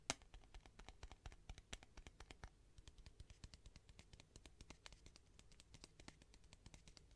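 Long nails tap quickly on the wall of a clear plastic tube with sponges inside, held horizontally. A steady run of short, dry, bright clicks plays over a faint low hum, with each tap dying away almost instantly.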